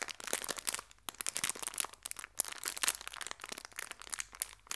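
A small clear plastic bag full of fabric hair ties is squeezed and crinkled with fingertips and long red nails. The result is a quiet, bright, crackly crinkle of dense, irregular bursts with almost no low end and no lingering ring.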